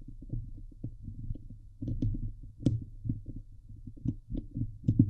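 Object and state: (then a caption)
Metal mesh microphone grille. Fingernails on both hands scratch and tap the hollow steel wire-mesh grille of a Blue Yeti microphone head. The sound is a dense, irregular stream of low, muffled thumps and rubbing scrapes with a deep hum underneath. A few sharper taps add brief, bright clicks on top.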